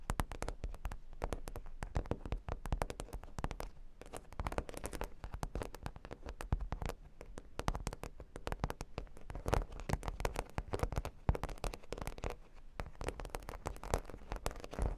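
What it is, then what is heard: Cork board with plastic pearl studs, solid. Long pink nails tap and scratch a flat cork board covered with solid plastic half-pearl stickers. The result is a dense, continuous run of quick, dry clicks and crackles with short scratching strokes in between. The sound is soft and bassy, and each tap dies away almost instantly.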